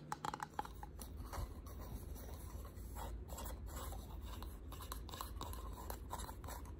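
A small hexagonal box of ridged wood, painted in distressed white and held in the hands, is tapped and scratched with short pink nails. A few sharp taps open the clip, followed by steady soft scratching and light clicks with a brief woody tone around 840 Hz. The sound is quiet overall, with a low rumble underneath.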